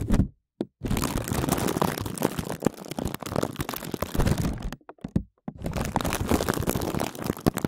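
Fingertips tap fast and crinkle a clear plastic zip bag covering a microphone, drumming on the plastic over the mic head. Dense, close, bassy thumps mix with crackling plastic crinkles, broken by two short silences near the start and around the five-second mark.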